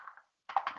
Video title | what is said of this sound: Faux Painting with Plastic Wrap | shake it up you can hear the ball inside